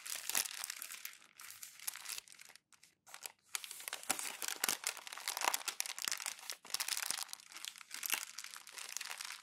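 Glossy magazine pages are crumpled and rolled by bare hands with the fingertips, giving a quiet, dense, bright crinkling and crackling with almost no low end. The crumpling runs nearly continuously, with brief silent pauses around 2.6–3.4 seconds and near 6.6 seconds.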